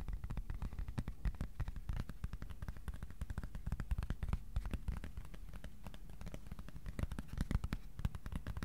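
A thin, flat white cardboard sheet about A4 size is held flat and tapped rapidly with fingertips. The steady stream of soft, dull, low thumps is short and dry, with no ring after each tap.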